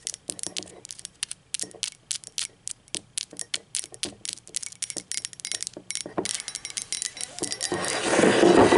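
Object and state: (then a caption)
Ceramic mug. Long acrylic nails tap and scratch the wall of a hollow speckled teal ceramic mug resting upside down on a table. Dozens of quick, irregular, bright clicks each carry a short ringing tone near 430 Hz. In the last second or so, the sound grows louder and turns into a continuous scratching rasp.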